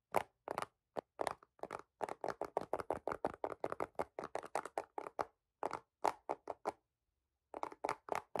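A dark green hard plastic phone case on a phone, flat and hollow with a white marble-pattern popsocket, is held in both hands and tapped and scratched with fingertips and short nails. About 32 quick, dry taps and short scratches come in a fast, uneven run, centered in the midrange with bright edges and no ring. There is a brief pause before a final burst.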